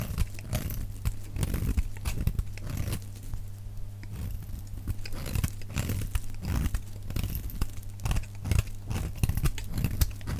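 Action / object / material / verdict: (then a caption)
scrape / soap bar shaved with a knife blade / soap / none. A metal utility knife blade shaves a solid, dry brown bar of soap held in the hand. Rapid, crisp scraping and crunching strokes come in quick bursts over a steady low hum. The shavings break off with a bright, crackly texture throughout.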